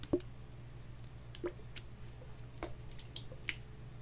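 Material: Plastic.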